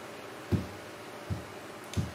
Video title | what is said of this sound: Improving and maintaining a few things and using low-density foam for support | I don't know if you can hear the base that's in it but there's no rattling